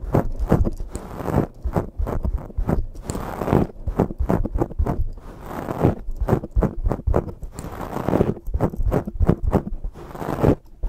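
Cupped hands with long nails rub and scratch a black foam microphone windscreen. The result is a dense run of rapid, muffled, scratchy rustling bursts, heavy in the low end, with some faster and slower passages.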